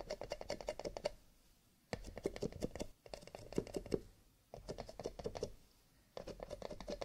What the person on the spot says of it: Tapping on cardboard / paper cups, with a little bit of scratching